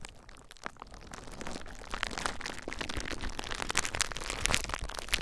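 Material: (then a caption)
Plastic. Clear plastic bubble wrap bundled around a recorder is squeezed by fingertips, popping the bubbles. Close crinkling rustle builds steadily in loudness, broken by an irregular series of sharp, bright pops and cracks that die away almost instantly.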